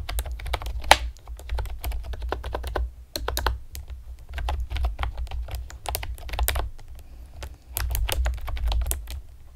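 A pastel plastic typewriter-style computer keyboard with round retro keycaps and hollow keys is typed on rapidly with long painted nails and fingertips. Dense bursts of short, sharp clicky taps run over a steady low rumble, with brief pauses near 3 and 7.5 seconds. The keys sound hollow and plasticky, with bright clacks that stop almost instantly.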